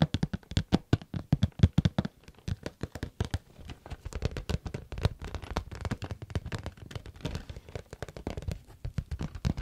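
Fingertips and nails tap a small, hollow, glossy pink plastic or vinyl case with a flower print, held in one hand. Rapid, irregular dry taps with a dull, low hollow thud and almost no ring come loudest in a cluster at the start, then continue softer and steadier with faint scratchy clicks.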